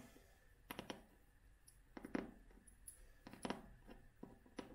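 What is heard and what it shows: A vintage hardcover book with an illustrated cloth cover is held upright and tapped with long nails. Quiet, dry, clicky taps come in small uneven clusters, each with a soft, low-mid knock and almost no ring.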